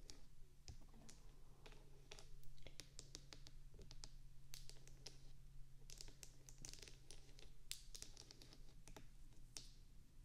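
Long acrylic nails on both hands rapidly tap and scratch the bumpy wax surface of a small, solid white wax bubble-cube candle resting on top of a binaural mic. A dense stream of sharp, bright, quickly fading clicks plays over a steady low hum.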